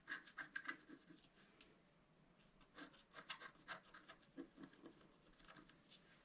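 A pointed wooden stylus scratches across a flat A4-size scratch-art card, black coating over a colored foil layer, lying on a table. Quick, irregular scratchy strokes come in bursts with bright, rasping texture, separated by a quiet stretch in the middle.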